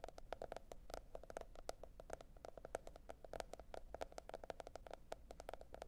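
Long nails tap rapidly on the printed hard cardboard cover of a notebook lying flat. The result is a quick, steady run of short, dry, clicky taps with a hollow mid-range tone, each dying out almost instantly over a faint low background hum.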